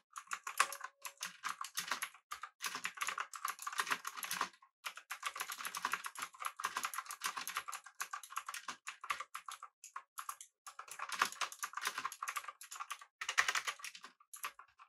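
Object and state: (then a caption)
Mechanical keyboard with round plastic keycaps. Both hands type with their fingertips on a full-size, backlit, typewriter-style mechanical keyboard with blue switches, an aluminum body and round plastic keycaps. Rapid, crisp clicks come in bursts of steady typing separated by brief pauses. Each keystroke is a sharp, bright click with almost no low end that dies away instantly.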